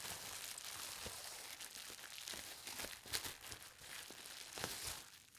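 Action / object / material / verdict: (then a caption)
scrape / plastic bubble wrap sheet / plastic / none. A large, flat sheet of clear plastic bubble wrap lying on a fabric-covered table is pressed, rubbed and smoothed by hands with long painted nails and fingertips, then lifted and folded. This gives a soft, continuous, bright crinkling with quick crackles and very little low end.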